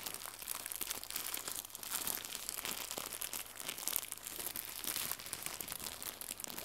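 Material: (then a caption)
Plastic. Fingertips with red nails crumple and stretch a small, white, crinkly plastic gift bow. The result is a quiet, continuous stream of dense, bright crinkling and crackling that rises and falls in small surges over a faint, steady low hum.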